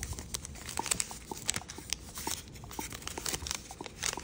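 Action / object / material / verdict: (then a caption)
scrape / thin origami paper / paper / none. A single small square of thin, patterned floral chiyogami origami paper is folded and creased by fingertips on a light wooden table. Quick, sharp, bright crinkles and crease snaps come in a steady irregular run over soft rustling, each dying away almost instantly.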